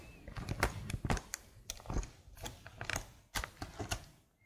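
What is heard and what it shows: Long blue nails type on the keys of a slim black plastic computer keyboard held flat near the mic. The result is a quick, uneven run of about eighteen short, clacky taps with a low thud underneath and bright clicks on top, each dying away almost instantly.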